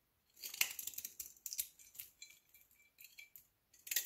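A solid olive soap block held in the hand has slices and shavings cut from it with a metal utility knife, making quick, crisp, bright scraping and crunching sounds. The cuts come in short bursts with brief pauses, ending in a louder flurry of shaving.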